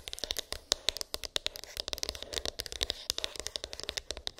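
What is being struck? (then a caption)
Small cardboard box. Long pink acrylic nails tap and scratch a small, hollow white cardboard iPhone box with an embossed, textured lid, its contents unknown. About thirty quick, dry clicks ring out in a fast, uneven rhythm over a faint scratching hiss. The sound is bright and crisp, with almost no low end, and each tap dies away instantly.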